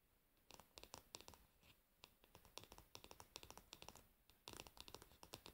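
Long nails on both hands rapidly tap and scratch the solid, glossy varnished wooden back of a paddle hairbrush resting with its pins facing down. Around thirty short, dry, bright clicks come in quick bursts, with light scratchy rasps between them and almost no ring after each tap.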